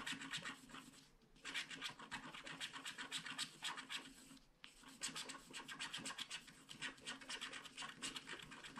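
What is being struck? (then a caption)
Scratch-art card with black coating, scratched with a wooden stylus. A wooden stylus scratches swirl patterns into the cloud on a flat paper scratch-art card with a black coating. The result is a steady run of quick, bright, dry scratching strokes with almost no low end, broken by short pauses around 1 and 4.5 seconds.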